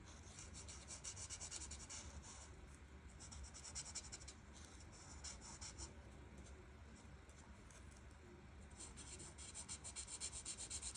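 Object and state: Marker rubbing on paper.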